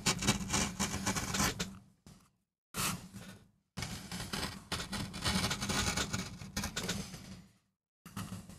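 A gloved hand carves a small flat solid MDF relief printing block resting on a textured mat with a wooden-handled gouge, while the other hand steadies the block. Bursts of dry, bright gouging and scraping strokes follow one another, with a low tone around 200 Hz beneath them. The bursts are broken by short silences between passes of the blade.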